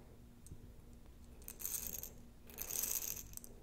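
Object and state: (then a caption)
Glass jar of plastic beads being shaken. A glass jar holding plastic beads is shaken and handled. It makes two bursts of bright rattling and clinking as the beads tumble against the glass, with quieter ticks before and between them.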